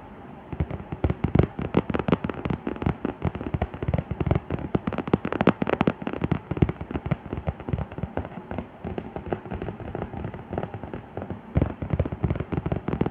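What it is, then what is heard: Vinyl mannequin head. Long manicured nails and fingertips tap and rub across the forehead, cheeks and nose of a life-size, soft vinyl/rubber makeup practice mannequin face, likely hollow. The result is a dense, continuous stream of quick, crackly taps and scratchy rubbing with a dull, low-weighted body that dies away almost instantly after each touch.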